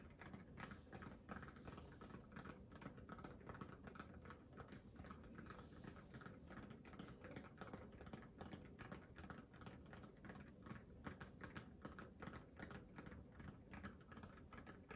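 Fingertips and nails tap and scratch the pebbled surface of a small, hollow, inflated orange rubber mini basketball held in both hands in front of a microphone. The result is a quiet, steady stream of soft, irregular taps and scratchy rustles with a dull, hollow low-end thump around 200 Hz and very little high brightness.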